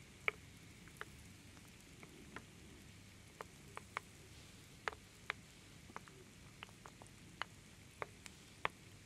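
A wooden ladle, held in long-nailed fingers, stirs and scoops through small solid wood slices in a large wooden bowl. About 15 sparse, crisp wood-on-wood clicks and taps ring out over a quiet, steady low hiss. Each click is sharp, bright and dies away almost instantly.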